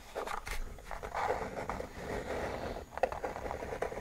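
The underside of a white plastic mechanical keyboard's hollow case, around its label, is scratched and tapped with nails and fingertips. Soft, dry scraping rustles mix with short, hollow midrange taps that stop almost at once, with a sharper tap near the end.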